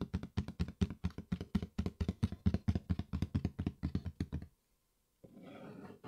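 Fingertips tap quickly on the flat lid of a medium-size, hollow, brown cardboard Yeezy 350 shoe box held up in the air, giving a run of about 39 dull, low, hollow knocks with almost no ring. After a brief silence, the fingertips scratch the lid, making a steady, soft, rasping hiss.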